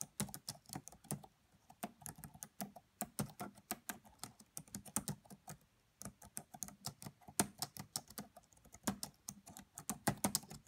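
Fingertips with long nails type fast on the black plastic keys of a red laptop. Rapid, crisp key taps come in dense bursts with very short decay and a low, soft thud under each click, pausing briefly before resuming.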